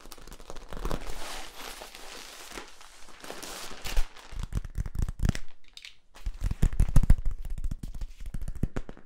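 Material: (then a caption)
Plastic. Fingertips scratch and tap along the ridges of a long, hollow, flexible yellow corrugated plastic tube held across the body, one end capped. A dense, crinkly scratching gives way to rapid, sharp ticking taps with dull, low hollow thumps underneath, in uneven bursts.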